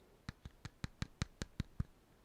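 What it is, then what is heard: Solid plastic action figure chest. Nine quick taps on the chest of a plastic Anti-Monitor mega action figure, each a short, dull, low thud with almost no ring. The figure sounds solid rather than hollow, giving it a premium feel.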